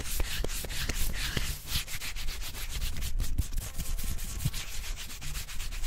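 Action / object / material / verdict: scrape / living tree trunk bark / wood bark / none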